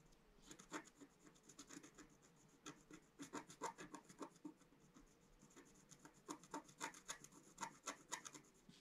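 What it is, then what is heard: Scratch-art paper sheet being scratched. A pointed wooden stylus held in the fingers scratches across a flat, solid, black-coated scratch-art sheet over rainbow foil, about A4 size, lying on a table. Quick, dry scraping strokes come in irregular clusters of bright, rasping ticks with short pauses between them. The sound is quiet overall, and each stroke stops almost at once.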